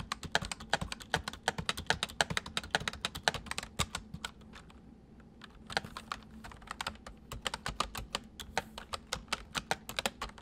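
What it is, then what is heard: Plastic mechanical keyboard. Fingertips of both hands type on a full-size white plastic mechanical keyboard with white keycaps resting on a wooden desk. Rapid, sharp, bright key clicks come in bursts, pause briefly near the middle, then resume over a faint steady low hum.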